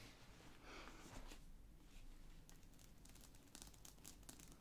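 Fingertips and nails from both hands tap and scratch the top of a closed, medium-sized black padded nylon/fabric zip-around CD wallet lying flat on a table. The sound is a quiet, steady run of soft scratching and crinkly rustling with a low, dull body, broken by short bright scrapes that grow busier toward the end.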